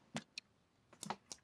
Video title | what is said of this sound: retro toy review: Dragonball z by Irwin toys Goku! | you can hear how hollow the plastic is like it's not thick at all